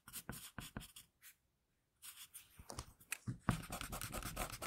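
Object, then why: Graphite pencil on drawing paper. A hand draws graphite lines with an HB wooden pencil over a flat sheet of drawing paper, working on the same drawing throughout. Short, dry scratching strokes come in quick bursts, stop for a brief silence, then return as a denser run of bright, raspy strokes.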